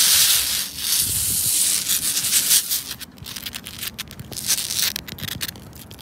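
Fingertips and long red nails rub and scratch a flat, solid granular rubber playground safety floor tile in red and green. The result is a bright, hissy scraping texture with quick scratchy flicks, loudest at first and fading to softer scratching toward the end.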